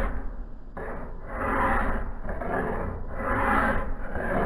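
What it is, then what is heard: Steel axe head being filed. A solid steel axe head, clamped in a vise resting on a blue cloth, is filed along the blade bevel with a hand file. Slow, rasping scraping strokes swell and fade in long, overlapping passes. The sound is dull and gritty with a heavy low end and little bright content.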